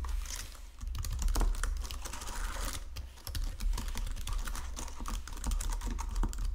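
Fingertips with painted nails type across a full-size white and silver plastic Logitech keyboard with low-profile keys resting on a marble desk. Quick, irregular plastic key taps and clicks run steadily throughout, bright and crisp over a constant low hum. The typing briefly thins and softens in two short lulls.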